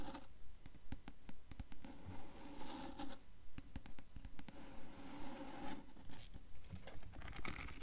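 Long fingernails tap and scratch the cover of a dark blue hardcover book with gilded page edges, held tilted. Quiet, regular taps come at a steady quick pace, mixed with soft scratching swishes over the cover. The taps are short and dull with no ring.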